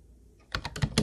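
Fingertips of both hands type on a hollow teal plastic Ubotie keyboard with round white plastic keys. After about half a second of near silence, a quick run of sharp, clacky keystrokes follows, each a short, dry click with a low hollow thud underneath and no ringing.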